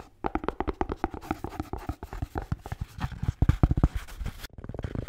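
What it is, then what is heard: Beer can holder, tapped and scratched. A blue Bintang beer can holder is tapped and scratched in a quick, uneven run of soft, dull taps mixed with rubbing scratches. The sound is muffled and low, with each tap dying away almost instantly and no ringing.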